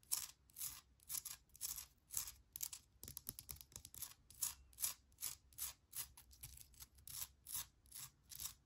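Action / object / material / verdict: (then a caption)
scrape / granite rock plant holder / granite / none. Long nails scratch and tap the rough surface of a small, solid, speckled grey granite-like rock chunk that holds an air plant. A steady stream of short, dry, bright scratching bursts comes in an uneven rhythm, with almost no low end and no ring after each stroke.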